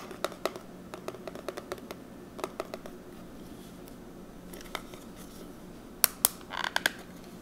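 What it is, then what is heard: Plastic eyeshadow palette. Fingertips and short nails tap on the clear plastic lid of a small, flat, rectangular plastic eyeshadow palette holding pressed powder pans, hollow and filled with makeup, held in one hand. The result is a series of light, bright, dry clicks with almost no ring over a faint hiss. Near the end, the hands grip and handle the case, producing a few sharper, louder clacks and a brief scratchy rustle.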